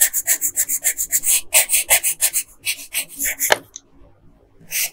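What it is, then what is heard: Colored pencil on paper. A yellow colored pencil is rubbed in quick strokes over the hair on a flat paper coloring page, making about two dozen bright, scratchy rasps in an uneven rhythm. After a sharp tick, the scratching stops for a short near-silent pause, then one last stroke is heard at the end.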